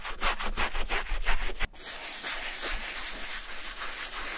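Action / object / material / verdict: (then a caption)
scrape / leather boot scrubbed with a bristle brush / leather / none. A brown leather Levi's vintage boot with a fabric and leather lining, lying on a towel, is scrubbed back and forth with a wooden-handled bristle brush loaded with foamy shampoo. Quick, rhythmic wet bristle strokes rasp with a bright, hissy texture for about a second and a half, then cut off abruptly. A quieter, steadier wet scrubbing follows.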